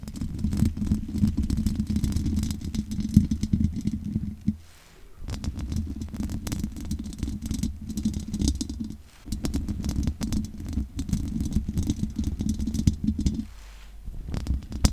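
Long nails scratch over the top and sides of a large condenser microphone's hollow metal mesh grille. The result is a dense, low, rumbling scrape with a steady tone near 200 Hz and little high-end content. It breaks off briefly in short quiet gaps before resuming.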